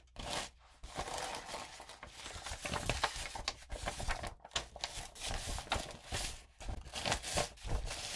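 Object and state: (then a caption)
Glitter-coated paper sheet. A sheet of lined notebook paper thickly coated with gold and pink glitter, lying on other sheets, is scratched with long nails and fingertips and rubbed with the palm. The result is a dense, crackly scratching and crinkling with bright, gritty highs. It swells and dips in short bursts, with brief near-silent gaps between strokes.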